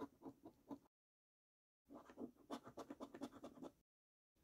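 A coin scratches the latex coating off a thin paper scratch card lying on a wooden table. Short, rapid, dry rasping strokes come in two bursts separated by silence, with another burst starting at the very end. The scratching sits mostly in the low-mid range with some bright edge on each stroke.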